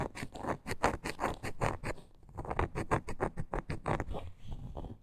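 Long nails scratch and tap along the grain of a small, solid, reddish-brown wooden block with a glitter edge, held in both hands. The result is a quick, rhythmic run of soft, dry scraping strokes and light taps with a dull, woody body and almost no ring. A brief quieter pause falls in the middle.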